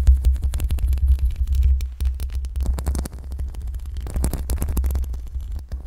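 Long pink acrylic nails on both hands slowly and gently scratch the metal mesh grille of a black USB microphone. The sound is a continuous deep, booming rumble near 66 Hz, overlaid with dense, rapid scratchy strokes that flicker across the range up to high frequencies. The level rises and falls throughout and fades slightly toward the end.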